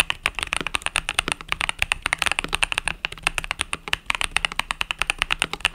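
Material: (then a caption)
Plastic. Fingertips type rapidly on a compact mechanical keyboard with pastel purple-yellow plastic keycaps. A fast, dense stream of short, bright clacks with a peak around 2.6 kHz, each dying away almost instantly.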